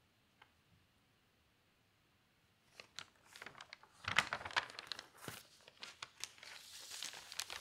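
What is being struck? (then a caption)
Newsprint newspaper page. After a near-silent start with one faint tick, fingers with long pink nails turn a page of a thin newsprint newspaper lying open flat on a table. The page crinkles and crackles in bright, dry bursts, then the sheet is smoothed and tapped flat with soft, quick rustles and taps.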